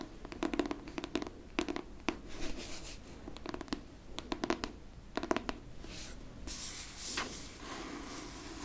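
Long pink nails tap and scratch the cover and top edge of a pink hardcover book. Quick clusters of crisp, short taps come in bursts, then give way to a softer, brighter, sustained scratching toward the end.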